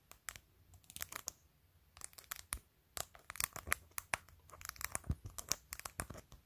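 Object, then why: Plastic phone case with acrylic press-on nails. Long pointed nails tap and scratch the top edge and face of a clear glitter plastic phone case covered in glued-on acrylic press-on nails. Quick, irregular, bright clicks mix with dry, crinkly scraping. The sound is quiet, with short pauses between bursts.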